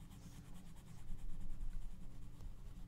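A gloved hand rubs an orange colored pencil across the page of an open paper coloring book lying flat. A soft, continuous scratchy rubbing is heard, steady throughout and swelling slightly in the middle, with no separate strokes standing out.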